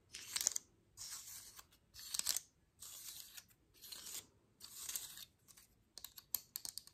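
A medium-sized, dry, open brown pine cone with woody scales is held in one hand while the other hand's long manicured nails tap and scratch along the scales. Bursts of bright, crackly scratching of about half a second to a second alternate with short pauses. Quick, sharp taps close the clip, all quiet and concentrated in the high range with almost no low end.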